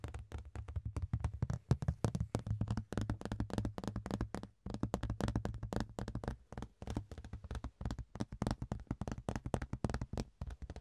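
A large, thin, ribbed rectangular clear plastic box lid, held in the hands, is tapped quickly and continuously with the fingertips and nails. The taps are short, dry and hollow, with a low, drum-like body around 117 Hz, little brightness, and almost no ring after each hit, falling into brief pauses between bursts.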